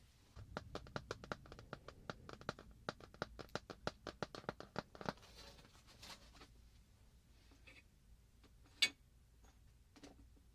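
A piece of metal filigree is tapped in a rapid, even series of short, bright clicks that ring out almost instantly. The taps run for about five seconds, then give way to quiet scraping and a few scattered taps, with one sharper, louder tap near the end.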